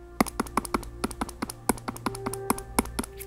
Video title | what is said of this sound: Kobo Sage: In-Depth Review | this clackiness that um is present all of the time